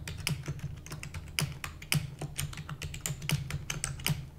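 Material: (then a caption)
Plastic. Rapid typing with long nails and fingertips of both hands on a full-size black plastic computer keyboard with hollow keys. It makes a fast, uneven stream of short, bright clicks and clacks over a low, hollow thump near 150 Hz. Each keystroke dies away almost at once.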